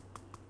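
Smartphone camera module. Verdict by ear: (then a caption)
Floating. Three light knocks on a POCO X8 Pro smartphone near its camera, each producing a brief, faint rattle of the floating lens in the optical image stabilizer over a steady low hum. The rattle reveals that an optical stabilizer is present and working as expected.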